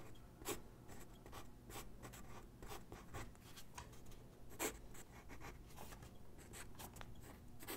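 A graphite pencil sketches on a single white sheet of drawing paper resting on a wooden desk. Quick scratching strokes come in a steady series of bright, short rasps, with a few louder strokes standing out over a faint low hum.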